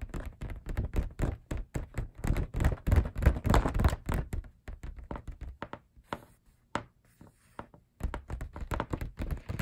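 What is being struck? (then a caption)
Printed paper poster. Fingertips and short nails tap rapidly on the surface of a large printed paper group poster held in view. The taps are soft, dull thuds with a papery crackle, irregular in rhythm and dying away almost instantly. The tapping thins out to a few sparse taps near the end before picking up again.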